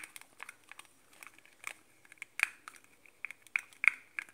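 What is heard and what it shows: Fingertips and nails handle and tap the translucent, hollow plastic cap of a pink metallic Victoria's Secret spray bottle, likely a body mist. The result is a quiet, irregular run of light, dry plastic clicks and taps with bright, crinkly edges, a tone centered near 2.2 kHz, no low end and almost no ring. The louder taps cluster in the second half.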